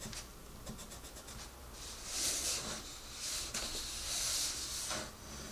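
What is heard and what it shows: A hand with red nails colors a rabbit's face in an open paper coloring book on a table, the pencil tip rubbing across the paper page. Soft, bright, hissy scratching rises and falls in several swelling strokes, with light quick ticks at the start.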